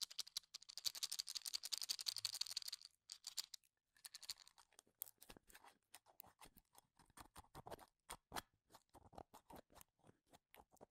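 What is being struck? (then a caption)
Cup of wooden toothpicks. Fingertips brush and click across the ends of a small, full cup of wooden toothpicks held close to the mic. A dense, bright scratchy rustle fills the first few seconds, then gives way to a quieter, irregular run of sharp, dry clicks and taps with almost no low end.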